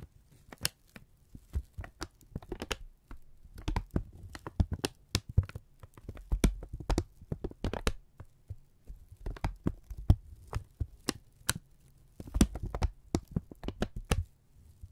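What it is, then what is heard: Kraft paper being crumpled. A thin strip of brown kraft paper is held in both hands and crumpled and stretched with the fingertips. It makes a steady run of sharp, bright crinkles and crackles over a soft, low handling rumble.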